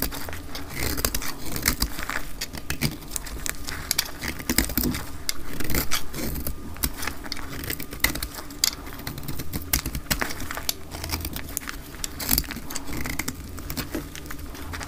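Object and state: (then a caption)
Dry soap bar being cut. A solid dark green bar of hard, dry soap is held in both hands and cut with a metal utility blade. The blade produces a steady stream of dense, crackling scrapes and rapid small clicks over a low rumble, with bright crisp snaps throughout as the soap is shaved away.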